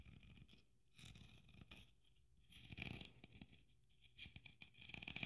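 Long nails scratch across the sequined surface of a red sequin Christmas ornament with gold braid. The result is quiet, crisp scratching and rustling in uneven bursts, bright and papery on top with a soft low rumble underneath.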